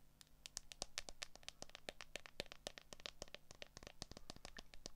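Long acrylic nails tap and scratch the back of a handheld smartphone's transparent hard plastic case around the camera lenses. A rapid, dense stream of sharp, dry clicks with bright high overtones and almost no ring is heard over a faint low hum, with light scratching between the taps.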